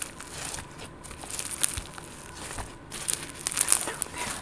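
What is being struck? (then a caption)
Glitter slime. Green and purple glitter slime, soft and solid with green speckles, is pinched and squeezed by fingertips and long gold nails. It gives quiet, crinkly, crackling squishes with bright, sharp pops and clicks scattered throughout.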